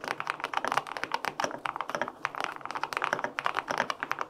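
Fingertips type steadily on the plastic keycaps of a white-pink full-aluminum 65% mechanical keyboard with linear switches. The result is a quick run of short, clacky mid-pitched taps with a bright top and almost no low thump, each dying away almost instantly.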